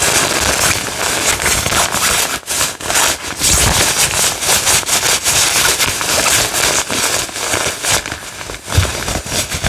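The pink padded nylon fabric of a floral jacket is crinkled, grabbed and rubbed with fingertips close up. This makes a dense, bright crackling rustle that goes on almost without a break, with brief irregular dips and swells in loudness.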